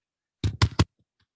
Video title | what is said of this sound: Language Evolution, Symbolic Cognition, Language Acquisition & Origin of the Human Mind - Terrenc... | the surface of this computer is hard